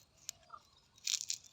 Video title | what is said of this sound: ปลูกผักสลัดกันค่ะ #วิธีปลูกผักสลัด #ปลูกผักสลัด #สวนแลนาเฮา | จะกรอบมากเลยนะคะนี่ดูใบที่เราไม่เอาฟังเสียงดูนะคะ